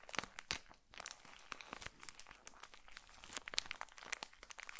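A small, colorful pocket tissue pack in a plastic wrapper is held close and crinkled with the fingertips of both hands. It makes a dense run of bright, crackling plastic crinkles with many sharp, quick snaps. There is little low end and almost no ring between crackles.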